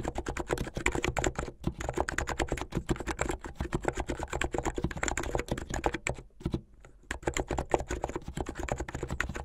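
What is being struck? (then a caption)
Plastic mechanical keyboard. Fast typing on a blue full-size plastic mechanical keyboard with white, blue and yellow plastic keycaps and backlighting, keys pressed by fingertips with painted nails. A rapid stream of short, sharp clacks with a low thock runs throughout, with a brief pause near the end before the typing resumes.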